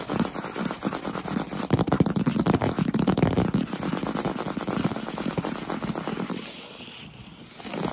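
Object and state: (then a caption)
Wooden floor, solid planks. Fingertips of both hands tap and scratch fast on a large solid wood-plank floor. The result is a dense, irregular stream of quick crackling taps and scrapes with a warm low body and little ring. The sound thins out and quiets after about six seconds, then picks up again at the end.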